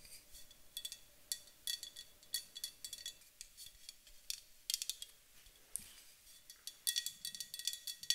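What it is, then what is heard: Aluminum aerosol can tapped with nails. Long acrylic nails tap quickly and irregularly on the side of a tall, white-painted, hollow, pressurized aluminum thermal water spray can. Each tap is a quiet, bright, metallic click that dies away almost at once, with a faint steady hum underneath.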